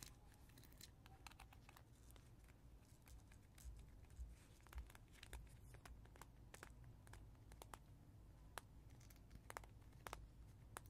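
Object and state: Plastic caterpillar teether with gel ring.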